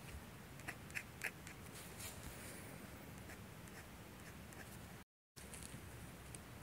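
A steel G-pen dip nib, held by the fingertips, scratches across a thin manga manuscript sheet of drawing paper resting on a light box while inking hair. Quick, bright scratching strokes stand out over a steady low background hiss, with a few sharper ticks near the start. The sound cuts to silence briefly near the end before the scratching resumes.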